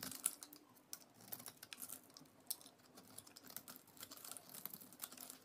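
A solid orange bar of soap stamped with lettering is held in hands with painted nails and shaved and carved with a utility knife blade, peeling flakes off its surface. Quiet, crisp scraping and cutting sounds form a rapid patter of bright, short clicks and scratches. A faint low hum runs underneath.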